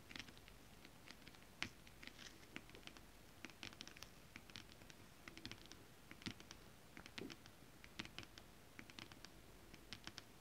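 Long acrylic nails and fingertips from both hands tap quickly on a flat sheet of shiny holographic scale-printed stretch fabric. The result is a quiet, steady patter of dry, bright clicks and light scratches, each one dying away almost instantly over a soft, low background hiss.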